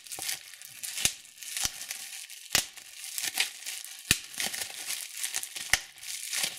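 Clear plastic bubble wrap is pinched by fingertips and thumbnails, popping the bubbles. Sharp, bright pops with almost no ring cut through a steady high, crinkly rustle of the plastic, arriving at irregular intervals throughout.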